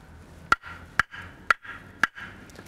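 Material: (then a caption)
Wood. Two pieces of firewood are banged together four times at an even pace to test how dry the wood is. Each knock is a sharp, brief clack with a faint tone near 1.4 kHz that dies away almost at once, separated by quiet gaps.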